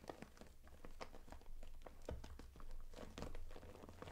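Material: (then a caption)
PVC plastic. Long acrylic nails tap and scratch the front and zipper edge of a closed, transparent daisy-print PVC cosmetic bag with pink zipper trim, full of makeup items. Quiet, irregular crinkly taps and short scratchy strokes come in quick succession over a steady low rumble, each sound dying away almost instantly.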